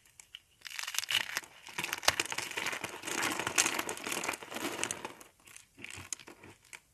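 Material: Soap.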